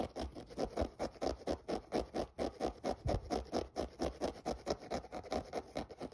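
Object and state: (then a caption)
Synthetic mesh sneaker being scratched. Fingernails scratch the mesh upper near the laces of a grey synthetic mesh running shoe that is hollow and empty. About 29 quick, dry scratching strokes sound in a steady rhythm, each a rough midrange rasp that stops almost at once.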